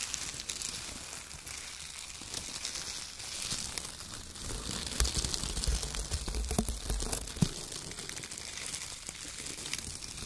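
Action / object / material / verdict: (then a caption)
scrape / shredded kraft paper strips / paper / none. Loose strips of brown shredded kraft paper are picked up with the fingertips, then crumpled and rubbed in bunches between both hands. The result is a steady, dense, bright crinkling and rustling, with a few sharper crunches standing out in the middle of the clip.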